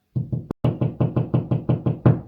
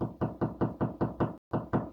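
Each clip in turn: First: hollow drywall cavity, no stud. Second: wall stud, solid spot.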